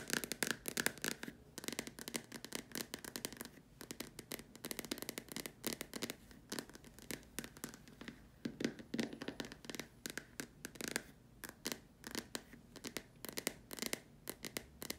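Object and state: Plastic lamp shade.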